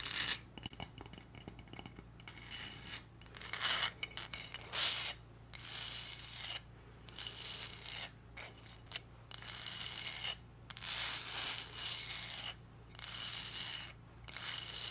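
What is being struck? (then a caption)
Glitter-covered cardboard gift box. Long red nails scratch and tap a hollow, heart-shaped cardboard gift box covered in pink glitter. Bright, gritty scratching comes in irregular bursts of a second or so, separated by short quiet gaps. A faint low, steady hum runs underneath throughout.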